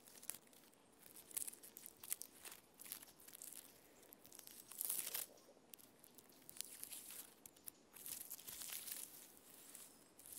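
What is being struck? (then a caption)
Standing tree trunk with flaky bark. Fingernails and fingertips scratch and tap the flaky bark of a standing tree trunk. The result is quiet, dry, bright crackling and rasping in short bursts, broken by sharp ticks, with almost no low end.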